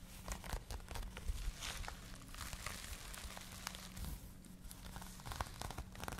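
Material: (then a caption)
Cotton yarn. A hollow, empty pink cotton crochet yarn bag, held in both hands, is scratched by long nails while fingertips rub its textured knit. The result is a dense run of crinkly, rustling scratches with quick bright ticks over a low, steady hum.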